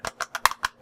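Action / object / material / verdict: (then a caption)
tap / plastic game controller / plastic / flimsy. Six light, hollow plastic taps on an Ouya game controller, each a short dry click centred around 1 kHz with almost no ring. The tapping shows how cheap, flimsy and spongy the controller's plastic is, worse than a Ferrero Rocher case, and its face plate comes off when it isn't meant to.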